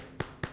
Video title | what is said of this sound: "THE POWER OF PRODUCTIVE PARTNERSHIP!" (Vol.2) www.ThomasManton.com | knock on, not wood or bone, knock on steel